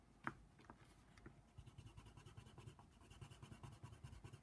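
A hand colors the ear outline on a paper coloring book page lying flat, using a brown colored pencil whose lead scratches the paper. Quiet, soft, dry scratching strokes repeat in a steady rhythm, heavy in low rustle, after a brief sharp tick at the start.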